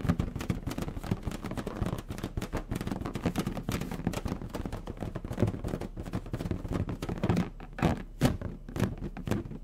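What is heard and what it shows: A medium orange latex balloon, inflated with air and hollow, is held in both hands while fingertips tap and rub its stretched surface. A dense run of soft, dull, low thumps and brief rubbing sounds follows, each tap dying away almost at once. A few louder taps stand out near the end.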